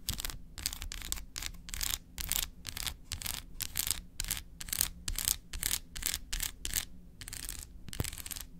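Long acrylic nails tap and scratch rapidly across the segmented face of a large, flat, solid milk chocolate bar that is unwrapped and held in one hand. The result is a fast, steady run of short, bright, crisp scratching bursts separated by brief pauses, over a faint low hum.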